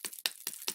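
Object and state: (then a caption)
Paint bottle shaken, mixing ball moving freely. A bottle of Silks metallic liquid watercolor is shaken well, and the small mixing ball inside rattles in four bright, clicking bursts. The rattle means the metallic pigment that settled at the bottom is starting to move and loosen up.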